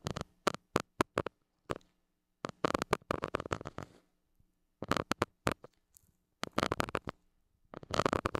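A white plastic stick tip scratches the hollow metal mesh grille of a small gold mini microphone. Close, dry, broadband scratching comes in short separate strokes, then in dense rapid clusters, with a faint low steady hum between bursts.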